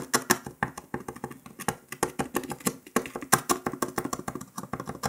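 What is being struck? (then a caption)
Brittle sugar candy disc picked with a metal needle. A metal needle scratches and picks along the cut line of a brittle brown dalgona honeycomb sugar candy disc resting on paper. It makes a rapid, uneven series of dry, sharp ticks and crackles with bright edges, each dying away almost instantly.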